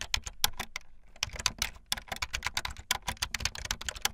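Fast typing on a full-size, backlit plastic Bluetooth membrane keyboard with white and blue plastic keycaps and a hollow plastic body, the keys pressed with fingertips and the tips of long painted nails. A rapid, uneven run of short, bright, clacky taps with a slight hollow thump underneath, each dying away almost instantly. There is a brief lull near the one-second mark before the typing picks back up.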